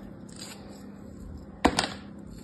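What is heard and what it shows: A solid kinetic sand shape molded like a crab, held in the palm, is sliced with a metal craft knife blade. After a quiet, faintly gritty scrape, the blade cuts through in a short burst of crisp, crunchy crumbling with bright grainy texture that stops abruptly.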